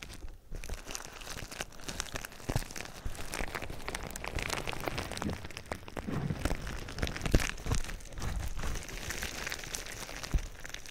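Clear plastic bubble wrap laid over the microphone is crunched and popped with fingers, giving a steady, dense crinkling and crackling. Sharp pops stand out throughout, with a heavy low-end rumble from the close contact and bright, crisp edges on each snap.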